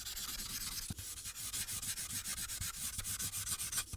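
A marker tip rubs in short back-and-forth strokes across a thin paper coloring sheet on a clipboard while coloring the sky. It makes a steady, bright, hissy scratching with rapid rhythmic strokes and faint low taps where the tip changes direction.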